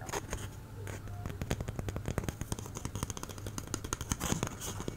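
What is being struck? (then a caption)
Cardboard tube. An empty, hollow brown cardboard toilet paper tube about 10 cm long is held near the microphone and tapped and scratched with long fingernails. The result is a rapid, uneven run of short, dry, hollow taps with scratchy, crackling bright edges over a steady low hum.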